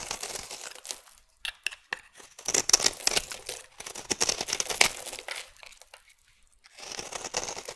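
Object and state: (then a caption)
Bar soap being carved. A metal blade scrapes and carves dry curls off the edge of a solid rectangular green Fax soap bar held in the hand. Bright, crisp crackling and scratchy tearing strokes come in bursts, separated by brief quiet pauses, with almost no low end.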